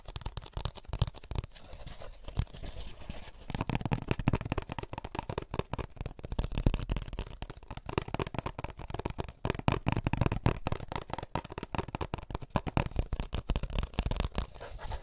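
An empty, hollow white molded paper pulp egg carton with a printed label is held in both hands while fingertips and short nails tap and scratch its lid and label. The result is a dense run of quick, dull, papery taps and scratches, mostly low and muffled with little brightness. The tapping starts sparser and quieter, then becomes busier and louder after a few seconds.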